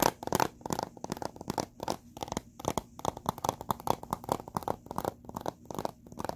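Fingertips and short nails tap and scratch the surface and edges of a small, hollow blue plastic Blu-ray case with a printed cover insert, held in both hands above a carpet. About 29 quick, dry clicks and scratchy scrapes arrive in an uneven rhythm, with a hollow plastic tone near 890 Hz and bright crackly edges. Each sound dies away almost instantly.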